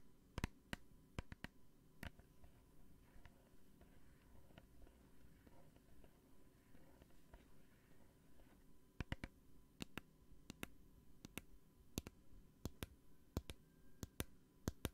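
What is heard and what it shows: Long painted nails tap a small clear plastic hand sanitizer bottle with a green cap, partly full of gel, close to the microphone. A few sharp, bright clicks open the clip, then a quiet stretch of soft low rumble follows before a steadier run of crisp, short taps with no ring fills the last six seconds.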